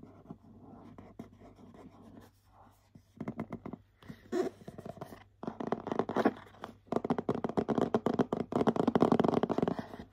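Short nails scratch and tap the glittery Hello Kitty front of a medium printed cardboard gift box for a bath set. Soft, dry scratching and quick taps start quietly, then grow into denser, louder bursts of rapid scratching through the second half.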